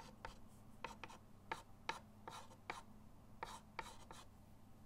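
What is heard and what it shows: A white chalk stick scratches lines and shading onto a flat, solid chalkboard in a wooden frame resting on a table. Short, dry, irregular scraping strokes with a raspy, bright edge and a squeaky tone near 900 Hz sit over a steady low hum, each stroke dying away almost at once.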